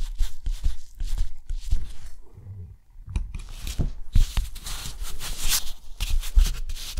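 A steel nib scratches a grid of lines, dots and a long stroke across a thick, rough, white textured watercolor paper sheet. Short, bright scratchy strokes come in quick bursts with low thumps, then a quieter lull, then denser, longer scraping.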